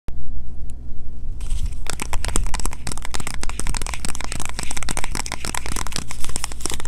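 A small green printed Kirk's Castile cardboard box with a bar of soap inside is held in both hands and tapped and scratched with long fingernails. After a brief quieter start, rapid crisp clicks and papery scratches come in a dense, continuous stream over a steady low hum.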